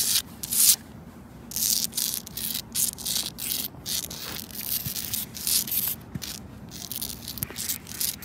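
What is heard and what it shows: Long nails and fingertips scratch and rub across grey concrete paving tiles set in a sidewalk, a large, solid, rough surface. Bright, hissy scraping strokes come in uneven bursts over a faint low hum, each rasp stopping dry with no ring.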